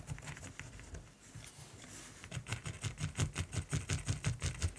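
A black mechanical pencil shades a raven's beak and throat on a flat, solid primed canvas in fast back-and-forth scratching strokes, with fingers close to the surface. Soft, uneven scratching gives way halfway through to louder, steady rhythmic strokes, each with a low dull body and a bright papery hiss.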